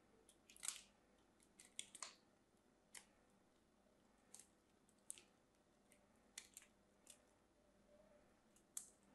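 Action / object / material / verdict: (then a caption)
scrape / bar of soap / soap / none. A small craft knife carves thin slices off a solid pink bar of soap held in the fingertips. Around fourteen crisp, bright scraping cuts come at irregular intervals over a quiet background, each ending quickly.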